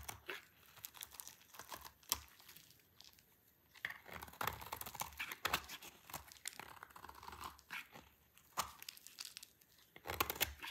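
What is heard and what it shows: A solid, dry green soap bar is scraped with a utility knife blade, making bursts of bright, crisp scratching and crunching as shavings fall away. The scrapes come in irregular strokes with short pauses, and at the end the bar is simply held up in the hand.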